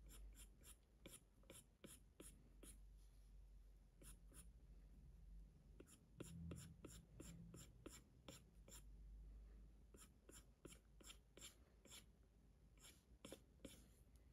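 A hard plastic Apple Pencil tip taps and scratches across the glass touchscreen of a large 12.9-inch iPad Pro lying flat in a case, making short sketching strokes. About 28 sharp, bright clicks and brief scrapes come through quietly over a steady low hum, each fading in under half a second.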